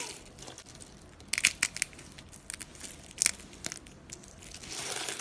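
A hand with long glossy nails grabs, squeezes and crumbles a pile of brittle pink, blue and green dry soap shavings on a countertop. Bright, dry crackles and crunches come in short bursts with almost no low end, louder clusters in the middle, and a steady crinkling rustle building toward the end.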